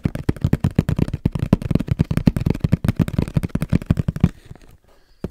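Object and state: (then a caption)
Tapped camera box. A camera box is tapped rapidly with the fingertips, giving a fast, uneven run of short, dull, low thuds with almost no ring. The tapping stops after about four seconds, leaving near silence before one last soft tap at the end.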